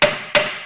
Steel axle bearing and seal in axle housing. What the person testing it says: you hear that solid sound versus that other one that means that we're fully seated